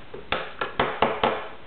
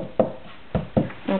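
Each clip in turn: First: plastic toy ring part. Second: metal post of a toy ring.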